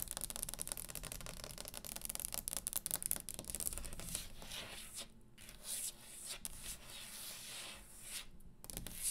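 Long green acrylic nails, fingertips grouped together, tap fast on the top of a round solid wooden table and scratch across its surface. A dense run of quick, bright clicks over a low rumble gives way to softer scraping and rubbing strokes broken by short pauses. The taps are crisp and dry, with almost no ring.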